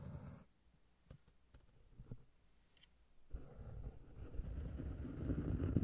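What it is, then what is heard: Cork pad, scratched and tapped. Fingertips and nails scratch and tap on a flat, solid round cork disc resting on a Tascam recorder. A short burst of low, muffled scratching gives way to a quiet stretch of soft, scattered taps, then dense, rumbling scratching builds and grows steadily louder to the end.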